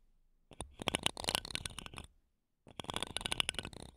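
Wooden toothpicks scratch the metal mesh grilles of two small silver condenser microphones, ending with both sticks on one mic. Two bursts of dense, bright, crackling scratches with sharp clicks, peaking around 2.9 kHz, are separated by a brief silence.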